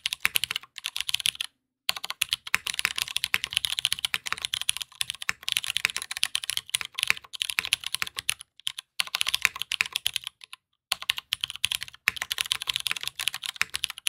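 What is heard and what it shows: A black aluminum Matrix 2.0add tenkeyless mechanical keyboard with Hyperglide MX Brown switches and cream and gray plastic keycaps is typed on continuously with the fingertips of both hands. Rapid, bright, dry clacks run in dense bursts, broken by a few short pauses, with no lingering ring.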